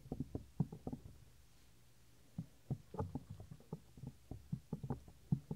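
Fingertips rub and fold the upper earflap of a 3Dio binaural microphone's white silicone ear. The result is a run of soft, dull, low thumps and muffled rubbing with almost no high end, broken by a quiet pause of about a second before it resumes.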